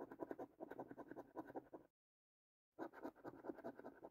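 A coin scratches the latex coating off the panels of a thin cardboard paper scratch card in rapid, repeated short strokes, making a dry, papery rasping concentrated in the low-mid range. The scratching stops for under a second of silence, then resumes at the same quick pace.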